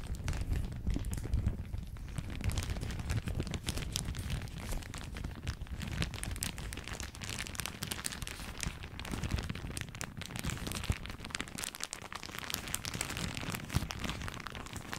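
A thin floral plastic shower cap is held in both hands right next to the microphone, crumpled and squeezed with fingertips and nails. It makes a steady, dense crinkling and rustling with sharp little crackles over a heavy low rumble from the close handling. The noise runs continuously without pause for the whole clip.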